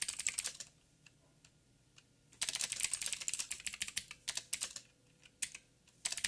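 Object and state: Plastic mechanical keyboard.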